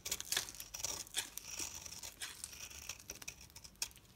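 A solid oval yellow soap bar, held in the hand, is scraped and shaved with a metal utility knife blade into thin crumbly strands. A quick series of dry, crisp crackling scrapes and crumbling flakes plays out, bright and high with almost no low end. Each stroke stops short with very little ring.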